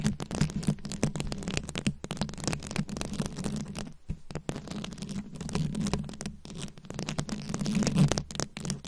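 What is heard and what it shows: Very long acrylic nails scratch and tap rapidly across a fist-sized microphone head fully covered in small round rhinestones, likely plastic, held up close. The result is a dense, continuous crackly scratching with a heavy low, boomy body around 145 Hz and short ticks, dipping briefly quiet near the 4-second mark before building again.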